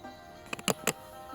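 An old clay Buddha amulet from the Dvaravati era, attributed to the Si Thep period, is tapped three times. Each tap is a short, dry click with a bright edge and almost no ring. The hard, brick-like clay gives a clean, solid response.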